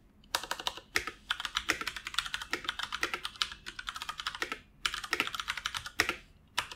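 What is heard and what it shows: Fingertips of both hands tap the keys of a full-size black plastic computer keyboard resting on a wooden desk, typing continuously. Rapid, bright, dry clicks come in dense bursts separated by brief pauses, with a few sharper, louder strikes standing out, and each click dies away almost instantly.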